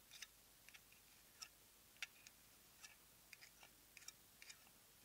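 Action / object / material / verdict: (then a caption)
tap / small plastic cosmetic jar with lid / plastic / none. A small round plastic cosmetic jar with a lavender plastic lid and white base, likely filled with product, has its lid tapped and scratched with long nails. Short, quiet, bright clicks and scratchy ticks come in an uneven rhythm over a faint steady background, each dying away almost at once.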